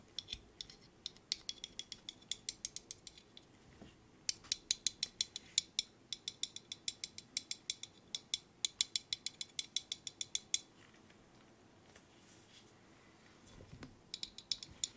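A small black steel binder clip held in a gloved hand has its wire handles rapidly worked with the fingers, producing bursts of sharp, bright, ratchet-like metal clicks. The dry, quick clicks come in fast runs, with a brief pause near four seconds and a longer quiet stretch before the clicking resumes at the end.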